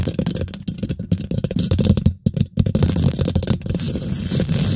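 Fingernails quickly scratch the top and sides of a hollow, rounded steel wire-mesh microphone head, producing a dense, rough scratching and rubbing with a heavy, booming low end. The friction runs almost continuously, with brief drops near the middle before resuming steadily to the end.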